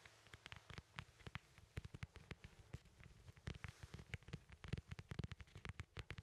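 A small, solid, whole fresh yellow lemon is held near the mic and tapped and scratched on its peel with fingertips and nails. Quick, dry, quiet taps with a soft low thump and no ring come in irregular bursts, with faint scratchy rustling between them.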